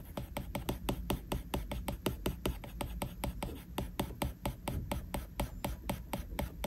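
A plastic Apple Pencil tip rubs rapidly back and forth across the flat glass screen of an iPad, making a steady scratchy drawing sound. About thirty short, sharp taps click through it at an uneven pace over a low background hum.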